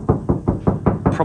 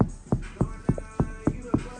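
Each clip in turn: First: tinny, undamped rear car door. Second: soundproofed car rear door sounds solid.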